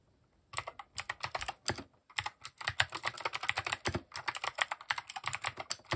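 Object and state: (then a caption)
Plastic mechanical keyboard. Rapid fingertip typing on a compact mechanical keyboard with cream, grey and orange plastic keycaps and RGB underglow, resting on a wooden desk. After a brief silence, a fast, uneven stream of sharp, bright plastic clicks and clacks follows. Each keystroke is crisp and dies away almost instantly, with little low-end thump.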